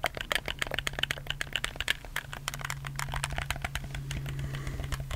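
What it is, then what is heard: Plastic game controller. Fingertips rapidly click the buttons of a black, hollow plastic PS4 controller held in both hands, making a dense stream of sharp, dry plastic clicks. A steady low hum runs underneath, and the clicks blur into a continuous rattle toward the end.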